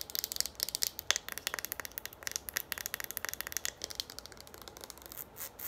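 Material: Plastic.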